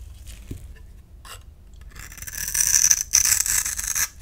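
A utility knife blade scrapes and shaves the surface of a solid rectangular purple bar of soap held in the hand, and dry crumbs fall away. A few faint, light scrapes open the clip, then the blade builds into loud, bright, gritty shaving. It breaks off briefly near the three-second mark and resumes before stopping just before the end.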